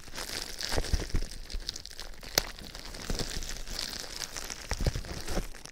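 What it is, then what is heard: Plastic bubble wrap. A large sheet of clear plastic bubble wrap, wrapped over a microphone, is held and squeezed with fingertips, rubbing and pressing the air bubbles. Continuous high crinkling and rustling runs throughout, broken by sharp crackles and a few louder pops.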